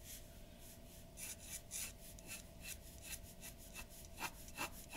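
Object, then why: Paper drawing sheet on a wooden table, glass pen nib. The nib of a glass dip pen scratches across a large flat sheet of white drawing paper lying on a wooden table in quick strokes. The result is a quiet series of bright, dry scratching bursts at an uneven pace, with a faint steady hum underneath.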